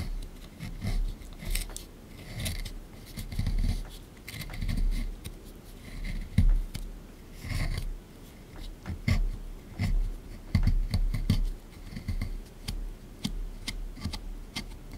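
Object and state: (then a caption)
Plaster excavation block being scraped. A small flat plastic tool scrapes and scratches a plaster excavation block sitting in a tray, working near the fossil. Repeated short, gritty scraping strokes rise and fall in bursts, dry with almost no ring, with a dull low-heavy body and faint bright scratchy edges.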